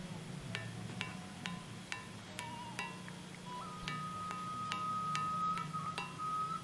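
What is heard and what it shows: A dense andesite stone column at the Gunung Padang megalithic site is struck about ten times in a steady, slightly uneven rhythm, giving short, bright, bell-like musical tones of differing pitch over a constant low hum. It rings because it is very dense and sits raised off the ground, so the vibration is not damped; a sustained mid tone lingers through the later strikes.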